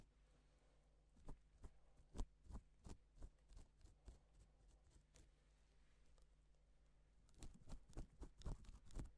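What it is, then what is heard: Plastic sequin fabric being stroked. A gloved fingertip strokes a flat, reversible pink and silver plastic sequin fabric sheet, flipping the sequins over to draw letters. It makes quiet, dry, brief clicking and rustling ticks at an irregular pace, which thin out midway and bunch into a denser flurry at the end. A steady low hum runs underneath.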